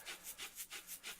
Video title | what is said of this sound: Videotape Teaching Lesson | you are striking the sides of the container from the inside with the breadcrumbs that are inside of there